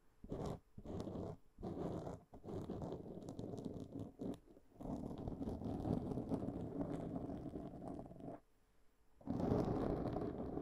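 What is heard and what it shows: A black foam windscreen on a microphone is scratched with the long nail tips of both hands. Dense, rustling, scraping bursts with a low-mid emphasis come in irregular stretches, broken by a few brief pauses and one longer quiet gap before the scratching resumes strongly.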